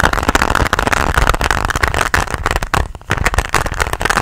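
Long nails tap and scratch a flat, hard pink plastic pencil case held close to the mic. A dense run of quick clicky taps and rasping scratches over a low, boomy undertone fills the clip, dipping briefly quiet about three seconds in before the tapping picks back up.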